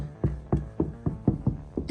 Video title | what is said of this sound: 2024 FORD Ranger Raptor Upgrades | if I tap on this you can hear that's much more dead now